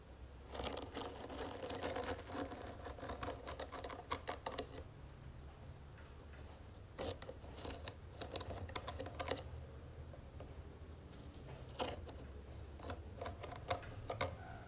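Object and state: Wooden jewelry box tapped with fingernails.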